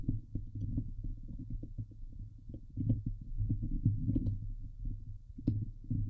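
Fingertips and nails scratch and press on the hollow steel wire-mesh grille of a Blue Yeti microphone head. The result is a dense run of deep, muffled thumps and rubbing scrapes over a steady low hum, with occasional sharper, brighter clicks cutting through.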